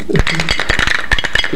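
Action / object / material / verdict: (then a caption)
shake / metal can with a wrapped object inside / metal / none. A can holding an unknown item wrapped in paper or plastic is shaken, and the hidden object rattles inside with a quick series of short, dull knocks and scrapes. The contents remain unrevealed.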